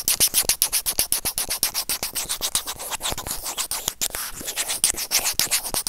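A white plastic tweezer tip scratches and rubs across the white plastic inline remote microphone of an earphone resting on felt. It makes rapid, uneven, bright scratchy strokes, about four per second, with a hissy, sanding-like texture and almost no low end.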